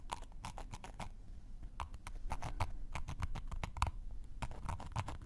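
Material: Cork.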